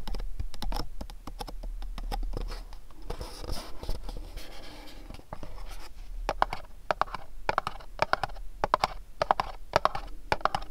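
Fingernails tap and scratch the sides of a small, dark, printed cardboard candle box held between the hands. Quick, dry taps with a hollow mid-range knock die out almost instantly, with a softer stretch of scratching in the middle. The tapping then picks up again in crisp, brighter bursts.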